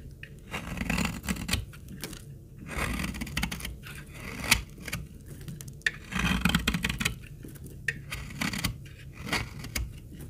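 A solid, dark brown, old and dry laundry soap bar is held in the hand while a utility-knife blade cuts small curls off its edge. Each cut gives a dry, crackly scraping burst with a bright, gritty edge over a low rumble, with short quiet gaps between strokes.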